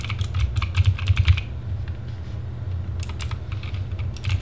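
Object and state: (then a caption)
Plastic mechanical keyboard. Fingertips of both hands type fast on a compact RGB Sherman Mini TGT mechanical keyboard with plastic keycaps, producing quick, bright clacking keystrokes. A burst of typing is followed by a short lull, then typing resumes, all over a steady low hum.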